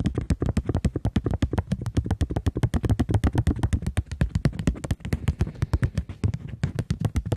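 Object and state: Polymer banknote tapped with nails.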